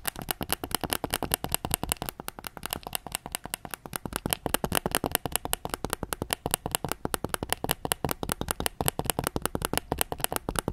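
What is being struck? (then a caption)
Hard plastic game controller shell. A white PS5 DualSense controller, with a hollow hard plastic shell and hand-sized, is held up while its back is tapped with fingertips and nails. The result is a fast, steady stream of dozens of dry, hollow clicks and taps with a mid-pitched plastic tone around 720 Hz, each dying out almost instantly.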